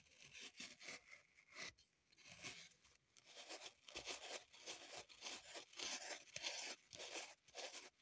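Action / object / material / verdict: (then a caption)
scrape / floral foam block / floral foam / none. Long pointed nails scratch and dig into a small, solid green floral foam block held up close, crumbling the foam. The result is quiet, bright, crunchy scratching in uneven bursts, with crisp crumbling texture and almost no low end.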